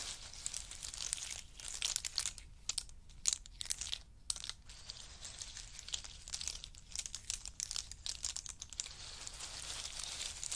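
Fingers pick up, drop and stir a heap of pistachios in their hard shells resting on a fur mat. The result is a continuous, bright, crisp crackle of shells clicking and rattling against one another, with brief quieter pauses between handfuls.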